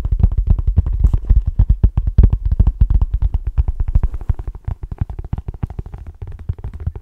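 Fingertips rapidly tap the cover of the paperback book "A Walk in the Physical," a solid paper block held upright in both hands. The result is a fast, irregular stream of short, dull, bass-heavy thuds with almost no ring, growing slightly softer toward the end.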